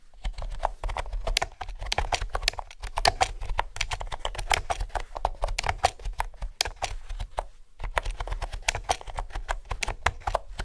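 Fingertips with nails type steadily on a mint green plastic retro keyboard with round pastel keycaps and a hollow housing. Quick, dry, clacky key taps carry a low thump and a hollow mid-tone resonance. Brief pauses break the dense rhythm of taps.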